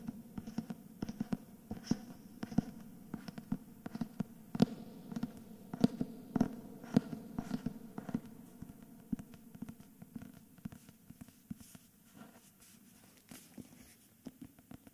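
Fingertips and short nails tap and scratch the spine and plain paper back cover of a thick hardcover book with a paper dust jacket. Quick, dry, irregular taps land over a low, hollow thud near 210 Hz, with soft papery scratching between them. Each tap dies away almost at once.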